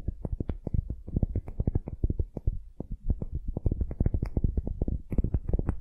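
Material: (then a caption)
Wood. Long nails scratch fast across a palm-sized solid wooden ball held in one hand. The result is a dense run of quick, dull, low scratching strokes with almost no ring, with a few brighter clicks near the end.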